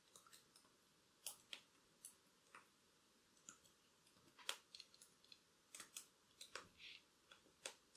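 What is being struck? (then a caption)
Plastic laptop keyboard keys tapped with long nails. Long black acrylic nails tap and click on the plastic keys of a silver-bodied laptop keyboard. The result is a quiet, irregular series of sharp, bright clicks and taps that die away almost instantly, with very little low end.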